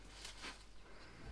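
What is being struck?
Nothing is struck.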